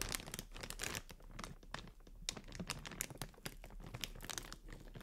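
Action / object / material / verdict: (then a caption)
scrape / plastic air cushion packaging / plastic / none. Long nails crinkle and scratch over clear inflated plastic air cushion packaging held in both hands. Dense, rapid crackles and scratchy rustles carry bright high hiss over a steady low hum. The crinkling stays busy throughout, with short sharp bursts that stop instantly.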